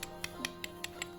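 An old Dvaravati-era clay Buddha amulet, already chipped with age, is tapped six times to show how hard its material is, each tap a short, bright, brick-like click that dies away almost at once. The dense, hard clay sounds like brick, though being old and chipped it would break if tapped against a tile.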